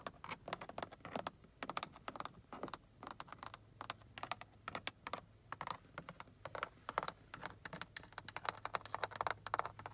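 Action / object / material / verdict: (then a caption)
tap / synthetic leather car door panel over hard backing / synthetic leather / none. Long acrylic nails tap and scratch along a large, fixed inner car door panel covered in black grained synthetic leather over a hard backing. Rapid, dry, clicky taps with no ring come in quick irregular bursts, mixed with brief scratching. The sound centres in the midrange around 1 kHz, with little low end beneath a faint steady hum.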